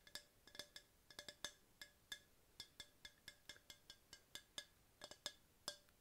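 Long pink-painted nails tap a tall, hollow, empty-looking yellow hard plastic tumbler held in the hand. About 26 short, bright, clicky taps come in an irregular rhythm, each with a faint hollow tone that dies away almost at once. Quiet pauses fall between the taps.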